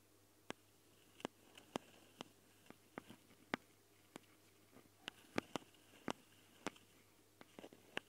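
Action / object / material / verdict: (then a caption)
tap / metal mesh microphone grille on a handheld recorder / metal mesh / none. Long, dark-painted fingernails of both hands scratch and tap directly on the metal mesh grilles of the two X/Y mic capsules on a small handheld Tascam recorder, whose hollow red and black plastic housings sit right at the mics. About seventeen sharp, dry, bright clicks land at irregular intervals, with faint scratchy rustling between them. The close handling sound stands over an otherwise quiet background.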